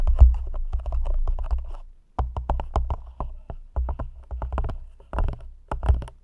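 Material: Plastic.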